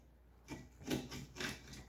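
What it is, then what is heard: Small engine with internal damage, grinding when turned. The small gasoline engine of a blown-up Toro Snow Pup snow thrower, with its wheel and sprocket removed, is turned over by hand. It gives a few soft, crunchy grinding rasps from inside, pointing to internal damage.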